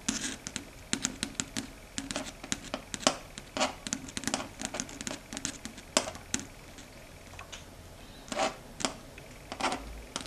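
Long red stiletto nail tips tap rapidly across a large, flat, dark gray chalkboard, a solid flat board. The sound is a string of fast, dry, bright clicks like typing, each cut off almost at once. The tapping comes in uneven bursts with a brief lull near the end.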